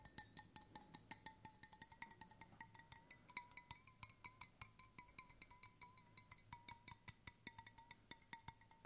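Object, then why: Stainless steel water bottle. Fingertips and nails tap the side and bottom of a hollow, brushed stainless steel water bottle held in both hands. The result is a quick, steady run of short, bright metallic clinks, each ringing briefly at a tone near 920 Hz with high overtones.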